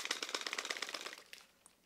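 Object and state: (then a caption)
Magnetic lens cap held tight on filter plate. A camera with a PolarPro magnetic protective lens cap snapped onto its filter base plate is shaken in a shake test, making a rapid run of light, bright rattling clicks that fade out, with a last faint tick at the end. The cap stays firmly in place and nothing comes loose.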